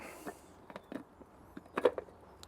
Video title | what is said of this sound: Smokey Chorizo Mac & Cheese @thepelletman1 | You can hear how crispy that is.